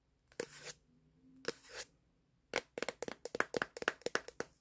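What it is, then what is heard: Plastic smartphone back. Fingertips tap on the plastic back panel of a black Samsung smartphone, held in both hands and recording itself, right beside the camera module. Two soft, crackling brushes come first, followed by a rapid run of sharp, bright, close-up clicks with a hollow midrange knock and almost no ring.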